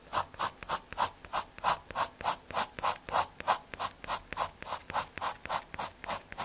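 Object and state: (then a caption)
Pencil hatching on MDF board. A graphite pencil scratches dense hatching and shading strokes across a small, thin square of solid brown MDF fiberboard. About 27 quick, dry strokes repeat at a steady back-and-forth rhythm of roughly 200 per minute. Each stroke is a raspy scrape centred in the midrange with a bright hiss on top, and it stops short with no ring.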